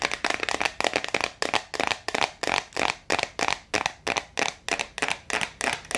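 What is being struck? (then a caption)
Plastic jar with screw lid, filled with water beads. Long acrylic nails tap fast on the clear plastic screw lid and the top of a medium clear plastic jar full of blue water beads. The result is a quick, uneven stream of sharp, dry clicks and crackly rattles, bright and thin, each cut off almost at once with nearly no low end.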